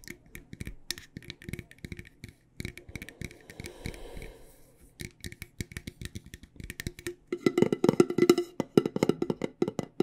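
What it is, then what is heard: Metal tea tin tapped with fingernails. A medium, decorated, hollow cylindrical metal tea tin for loose tea is tapped with long nails on the lid top and the rim. The result is a run of many quick, dry clicks with a short metallic ring around 383 Hz and faint bright ticks. The taps grow louder and denser in the last few seconds.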